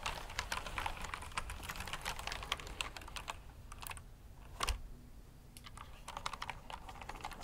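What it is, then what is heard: Plastic mechanical keyboard. Fingertips type on the plastic keycaps of a black backlit mechanical keyboard resting on a brown cloth surface. Quick, sharp clicks run in dense bursts with brief pauses, including a louder clack near the middle, and each click dies away almost at once.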